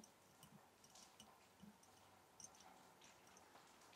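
A glass mason jar holding match sticks is tapped gently, giving a series of light, bright clicks and ticks. The taps are quiet and sit over a steady soft background hiss.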